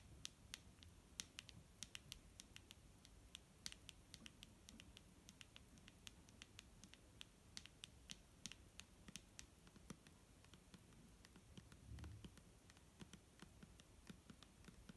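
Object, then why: Plastic bottle of liquid. A clear plastic micellar water bottle filled with liquid is tapped and scratched with fingernails, giving dozens of quick, dry, bright clicks over a soft scratchy rustle. The taps die away almost instantly, with a brief low thump around the twelfth second.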